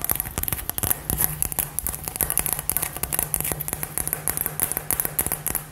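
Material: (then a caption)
Glass. A hollow, glittery light-up glass LED ball with gold glitter is held and tapped and scratched with long nails. The result is a dense run of sharp, bright clicks and taps over soft scratching, with a faint low hum running underneath.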